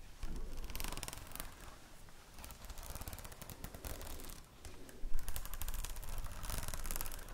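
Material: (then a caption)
Plastic. Long nails scratch and tap near the spiral and across the plastic cover of a red spiral notebook, making a dense run of quick clicking, scraping sounds with a low, soft body. The activity comes in uneven bursts, with a louder flurry of taps about two-thirds of the way through.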